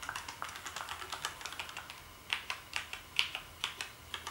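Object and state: Plastic keyboard typing.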